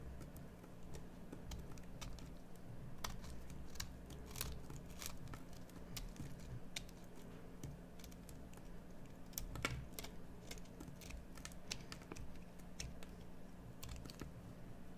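A metal carving knife scrapes and carves a solid green bar of soap, producing a dense series of short, dry, crisp scratching clicks with bright high edges over a steady low hum. The cuts come in quick irregular bursts throughout, each dying away almost instantly.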